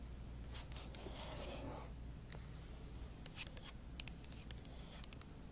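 Long acrylic nail tips scratch the aluminum palm rest beside the trackpad of a silver MacBook Pro. A soft, bright rasping builds through the first half, then gives way to scattered sharp, high ticks and scrapes over a steady low hum.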